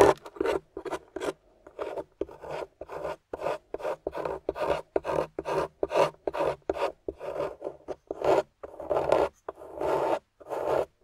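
A small metal spatula with a wooden handle scrapes and digs into a grey solid plaster dig-kit block while fingers with long nails hold the block steady. The clip has around 34 short, dry rasping strokes in an uneven rhythm, each mid-toned and gritty with brief gaps between.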